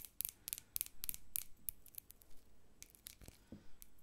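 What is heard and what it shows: Long nails tap and scratch the bumpy outer glass of a medium hobnail-textured glass jar held in hand, the hollow jar filled with white bath salt and a plastic spoon resting inside. Crisp, bright clicks come first, followed by softer scraping rasps over the textured glass, all at a quiet level.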